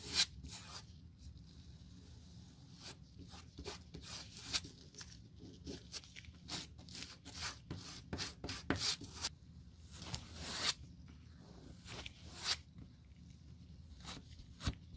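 A stiff brush is scrubbed back and forth over a solid black rubber sole sheet, first on a table and then in gloved hands, to spread glue for a Birkenstock sole replacement. Quick, bright, scratchy rubbing strokes repeat throughout, each short and dry over a low steady hum.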